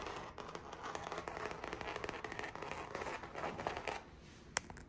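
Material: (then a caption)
Canvas. Long acrylic nails tap and scratch across the surface of a large framed abstract painting on stretched canvas, hollow behind the fabric. The result is a dense run of quick, dry taps mixed with papery scratching for about four seconds, then the sound quiets, with one sharper tap near the end.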